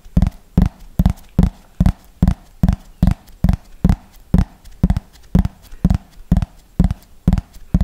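Fingernails tap quickly on a thin, hollow yellow plastic frisbee held close to the mic, making a steady, evenly spaced series of short, dull, hollow knocks. Each tap is low-pitched with almost no ring and little brightness, and the taps stay even in loudness throughout.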